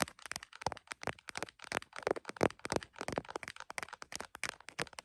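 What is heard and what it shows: Long nails tap the top of a tripod-mounted iPhone's printed plastic case and its camera area. About 27 rapid, irregular, dry clicks follow, each sharp, bright and very short, with quiet gaps between them.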